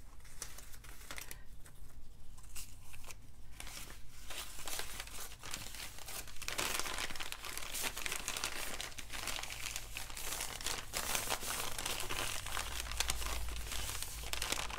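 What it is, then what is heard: Crumpled brown paper bag. A small, empty, wrinkled brown kraft paper lunch bag is held in both hands over a table of coupons and crumpled, rubbed and crinkled with the fingertips. The result is a steady stream of dry, crackling paper rustle over a low, constant hum. The crinkling grows louder and brighter about halfway through.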